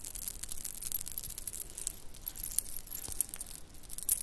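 A shell and bead bracelet is held up by one end and jiggled, so the shell chips and beads clink against each other. The result is a quiet, continuous stream of bright, high-pitched clicks and chinks with very short ring that lasts the whole four seconds.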